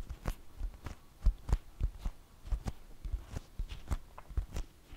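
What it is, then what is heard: Flour tortilla. A large, thin flour tortilla held in both hands is tapped with long fingernails and fingertips. The taps come as a quick, irregular series of soft, dull, low thumps, each with a faint bright tick, and every one dies away almost at once.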